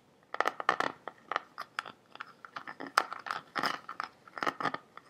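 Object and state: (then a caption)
Plastic water bottle. Fingertips and nails tap and scratch the body of a large, clear, green-tinted plastic bottle that is hollow, partly filled with water, and held horizontally while being tilted. The result is a rapid, uneven series of dry, crunchy taps and short scratches centered around 1.2 kHz, with bright edges and almost no low end or ring.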